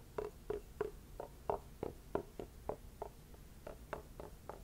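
A small, whole, partly hollow orange pumpkin of the red kuri type, with its stem on and held in one hand, is tapped with a wooden stick mallet with a round wooden ball head, with some scraping from the stick. About fourteen quiet, hollow knocks sound at an uneven pace, each with a mid-low tone that dies away almost at once.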